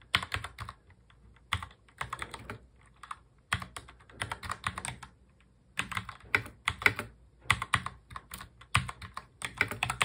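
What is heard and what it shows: Both hands type on a full-size black mechanical keyboard with plastic keycaps, fingertips tapping the keys. Quick bursts of bright, sharp clacks come in uneven runs separated by short pauses, each keystroke dying away almost instantly with a faint low thump beneath.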